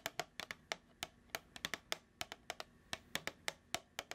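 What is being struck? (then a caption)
Plastic food tub. Long acrylic nails tap a hollow, medium plastic food tub with a printed label and a lid, held in the hands. About 22 sharp, bright clicks come in an uneven rhythm, some in quick pairs, each dying away almost instantly, with little low end beneath a faint hiss.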